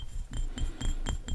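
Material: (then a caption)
Glass. A glass cologne bottle is tapped in a quick, steady series of light strikes. Each tap gives a soft low thud under a short, bright glassy clink with a ringing tone around 3 kHz and a higher shimmer, and each fades almost at once.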